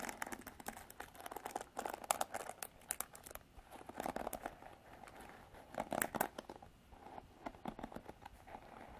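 Long artificial nails scratch and flick through the black plastic bristles of a plastic-bodied paddle hairbrush. The result is a quiet, dense stream of crisp crackling clicks and rasps, centered in the midrange with bright high streaks. It comes in bursts that swell and fade over about nine seconds.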